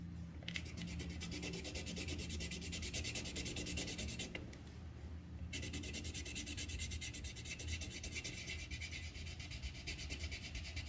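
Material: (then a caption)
Paper. The tip of a yellow wooden colored pencil rubs a thin white paper sheet on a clipboard in many short, quick strokes, filling in a petal. The result is a steady, bright, raspy scratching over a low murmur, easing briefly in the middle before resuming at the same pace.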